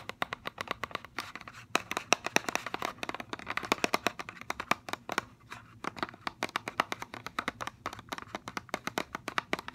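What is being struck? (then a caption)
Plastic blister pack on cardboard card. Fingernails tap and scratch a hollow clear plastic blister shell of a mascara package mounted on a cardboard card. The result is a rapid, continuous stream of sharp, dry clicks and scratchy ticks with a bright, hollow plastic tone and almost no low end. Each tap stops almost instantly, with no ring.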